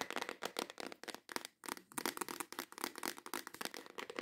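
Long acrylic nails tap quickly on the lid of a clear plastic organizer box full of nail tips, then tap the box again while it is held up. The result is a dense run of dry, sharp clicks with bright edges, each dying away almost instantly, with short gaps between quick bursts.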